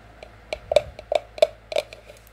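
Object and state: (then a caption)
Cardboard sleeve on ceramic mug. Long French-tip acrylic nails tap on a white cardboard label sleeve wrapped around a hollow, empty white ceramic mug held in the hand. The result is a quick, uneven series of short, dry taps, each with a hollow tone near 600 Hz and a bright nail click that dies away almost at once.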